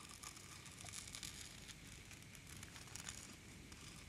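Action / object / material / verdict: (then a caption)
scrape / small wooden slices in a wooden bowl / wood / none. A wooden ladle, held in a hand with long dark nails, stirs and scoops a large wooden bowl full of small solid round wood slices. The pieces clack steadily against each other and the bowl in a dense, bright, crackly rattle with a low rumble underneath. The sound keeps going for the whole clip with no clear pauses.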